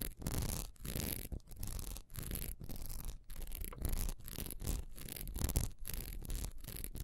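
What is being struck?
Textured wax pillar candle.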